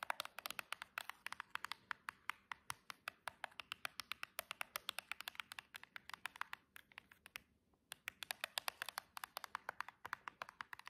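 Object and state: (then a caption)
Cardboard nail box with plastic window. Long jeweled nails rapidly tap the plastic window of a silver cardboard nail box, then its cardboard edge. The result is a dense stream of quiet, sharp, bright clicks with no low end and almost no ring. There is a brief pause near the eight-second mark before the tapping resumes.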